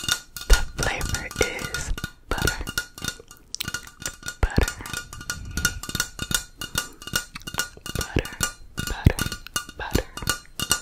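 Long nails tap rapidly and irregularly on the side of a tall metal aerosol can of Crisco butter cooking spray. The dense run of short, clicky taps carries a faint metallic ring that dies away almost instantly, with a few brief pauses between bursts.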